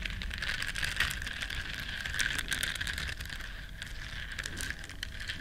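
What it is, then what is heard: Silicone bristle scrubber being scratched. Long nails scratch the bristles of a small, flat, solid yellow silicone duck-shaped scrubber, making a steady, dense scratchy rustle. The sound centers on a bright band near 1.9 kHz over a soft low rumble, and it stays fairly even throughout before easing slightly toward the end.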